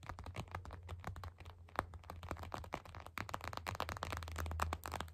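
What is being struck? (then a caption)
Plastic eye mask filled with gel beads. Long acrylic nail tips tap fast on a clear purple plastic eye mask filled with gel beads, lying flat. The result is a quick, dense run of short, dry plastic clicks with a faint squishy rattle, over a steady low hum.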